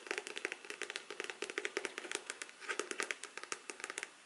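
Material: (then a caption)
Faux leather. Long black artificial nails tap and scratch a black faux leather hard-cover folder, first held upright and then laid flat. The result is a quick, uneven run of dry, clicky taps mixed with light scratching, bright and crisp with almost no low end. Each tap dies away instantly at a soft, close level.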